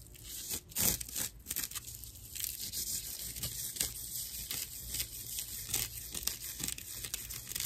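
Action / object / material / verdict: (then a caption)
scrape / natural loofah sponge / plant fibre / none. Long nails scratch across a dry slab of natural loofah sponge, its hollow cross-section exposed. The result is a rough, crackly, bright scratching with a quick run of short rasping strokes that crinkle and tear-like bursts over a faint low hum.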